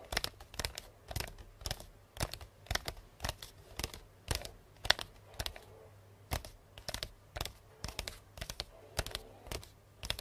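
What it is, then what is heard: Hollow wrapped cardboard box. Long painted nails tap fast on the side of a hollow, medium cardboard box wrapped in pink star-print paper with a purple ribbon bow. Clusters of sharp, dry clicks come in quick bursts with brief pauses between them. The bright taps stop almost instantly, with a faint low hum underneath.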